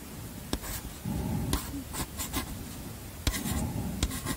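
Chalk scratches and squeaks across a small black chalkboard slate in a wooden frame held in one hand, writing out words. Four sharp taps of the chalk against the board punctuate the softer, dry scraping strokes.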